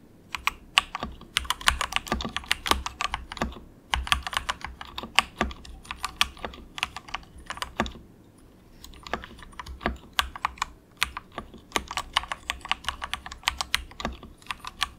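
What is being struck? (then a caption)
Plastic mechanical keyboard with plastic keycaps. Fingertips of both hands type softly in quick taps on a compact, inexpensive mechanical keyboard with grey and orange plastic keycaps and a hollow plastic case. Each press gives a short, bright plastic clack that dies away at once, in fast irregular bursts with a brief pause around the middle.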